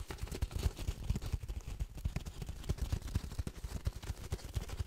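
A long, hollow, patterned cardboard tube is held in both hands over a microphone and quickly tapped and scratched with fingernails. It produces a rapid, uneven run of soft, dull, low thumps with almost no ring, and a faint bright scratching texture between them.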